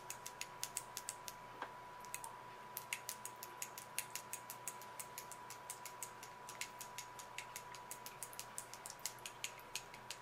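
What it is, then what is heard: Glass candle jar. Long acrylic nails tap rapidly on the glass sides of a small glass jar filled with red solid wax candle, held in both hands. Dozens of sharp, bright clicks with almost no ring are heard over a faint steady tone near 1 kHz.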